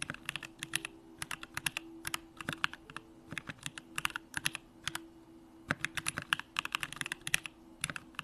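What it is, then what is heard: Mechanical keyboard being typed on. Fingertips type continuously on a Bakeneko65, a 65% mechanical keyboard with a hollow aluminum case, Durock lavender switches and pink plastic keycaps. The result is a steady stream of short, bright, crisp clacks with almost no ring, rising and falling in quick bursts over a faint low hum.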